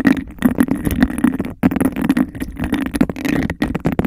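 Long nails rapidly tap the base and scratch the sides of a clear textured glass cup held over the mic, creating a hollow, boxy resonance around 266 Hz. The fast, aggressive tapping and scraping runs almost continuously, with brief pauses near 1.6 and 3.6 seconds.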